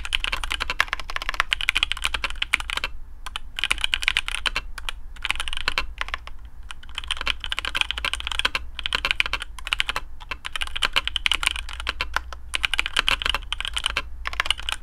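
A black custom AARU mechanical keyboard with TTC Speed Silver switches, PBT plastic keycaps and a carbon fibre plate in a hollow case is typed on with the fingertips of both hands. The result is a steady stream of short, dry, bright clacks centred around 2.4 kHz, with brief pauses near 3, 6 and 10 seconds. A faint low hum runs underneath.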